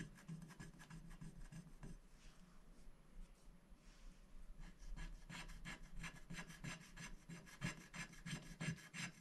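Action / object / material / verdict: scrape / black-coated scratch-art paper scratched with a wooden stick / coated paper / none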